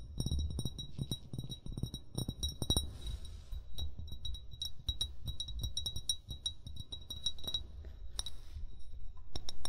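An upright, hollow amber glass bottle is tapped quickly with short fingernails and fingertips. Irregular glassy clinks carry a short, bright high ring over dull, low thumps from the fingertips.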